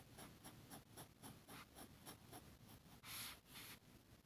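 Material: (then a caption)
Paper. A metal fountain pen nib scratches across a flat, thin sheet of grid paper on a table in short hatching strokes while shading an ink drawing. A red plastic contact lens case sits untouched nearby. The result is a quiet, rhythmic series of dry, bright scratches, with a louder, longer stroke near the end.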